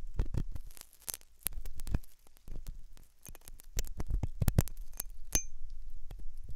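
A metal dental pick scrapes inside the hollow ear canal of a white, soft silicone ear on a binaural microphone. Close, irregular scratching and clicking bursts come through with a deep, boomy low end and brief bright metallic ticks, each one dying out almost instantly.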